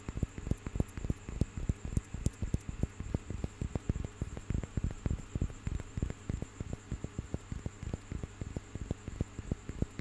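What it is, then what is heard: Carved wooden panel. A small carved and painted wooden piece with relief figures is held in one hand and tapped and scratched with fingertips and nails. Quick, irregular, dull taps with almost no ring form a steady, low-heavy patter, with light scratchy texture and a faint, steady high tone underneath throughout.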